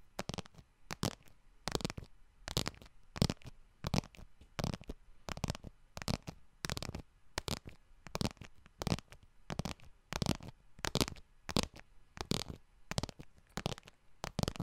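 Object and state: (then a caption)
Faux leather wallet tapped with nails. Long nails tap the front of a small yellow faux leather wallet held in both hands. Quick, dry taps come in irregular clusters, each a soft low thump with a bright clicky edge that stops almost instantly, over a quiet background.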